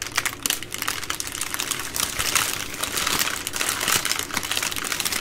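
A plastic-wrapped baby wipes multipack, a bundle of three full soft plastic wipe packs, is tapped and scratched by long nails and squeezed by hands. Bright, dense crinkling and crackling plays continuously, with quick sharp taps mixed in and little low-end weight.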